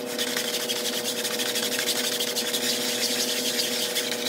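A long-handled push broom with blue plastic bristles scrubs back and forth across a large, flat, grey patterned synthetic woven area rug that lies wet with foam on a tile floor. The result is a steady, bright, hissing scrub with a loose rhythm of strokes, over a faint constant hum.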